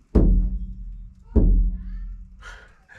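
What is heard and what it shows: Two low, dull thumps as a steel van panel treated with sound deadening is knocked, each dying away quickly with no metallic ring. This is the expected dead sound of a deadened panel, a huge difference from the untreated panel. Softer, brighter noises follow near the end.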